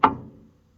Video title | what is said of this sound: 83 #toyota Frame and Flat Deck Project Part 2 | It sounds hollow, higher pitched.